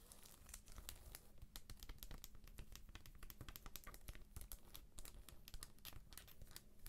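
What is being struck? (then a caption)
Paperback book in plastic shrink wrap. Long nails scratch the edges and cover of a thick paperback book held up in its plastic shrink wrap. The result is a rapid, uneven run of crisp crinkling and scratchy crackles with bright ticks over a low, dull rumble, each sound dying away almost instantly.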